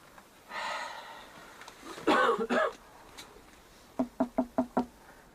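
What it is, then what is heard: Hollow wooden wall. Knocks on the wooden wall of a structure sound hollow, revealing a hollow space behind the wall. After a few louder, broader bursts, five quick, evenly spaced knocks ring out, each with a short, resonant ring.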